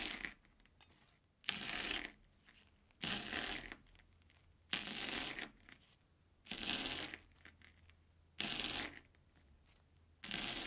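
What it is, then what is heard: Corn puff snack being cut. An airy Banana Kick corn puff stick is sliced thin with a steel kitchen knife on an orange plastic board. Seven separate bursts of crisp, bright crunching and crackling follow each other at a steady pace, with quiet pauses between cuts and very little low end.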